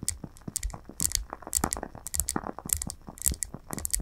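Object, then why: Wax-filled glass candle jar. Long nails tap rapidly around the rim and sides of a lit glass candle jar filled with wax. Each tap is a short, bright click with a soft low thump beneath it, dying away almost instantly, in an uneven, fast series of taps.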